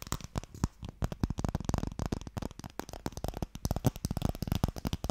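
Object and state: Wooden Mikado box.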